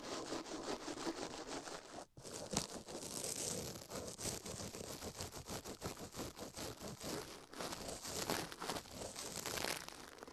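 A toothbrush scrubs fast against a silicone ear microphone, close up, making a dense, continuous scratchy rustle with bright, hissy edges. Quick repeated strokes crackle like tearing paper, with a brief near-silent break early on before the brushing resumes.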